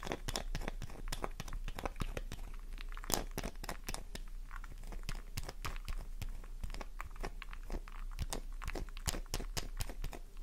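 Long nails rapidly scratch a solid pink flower-shaped bar of soap held in the palm, making a steady stream of dry, crisp crunching and scraping clicks with bright edges. The scratching leaves a cross-hatched surface on the soap and loose flakes.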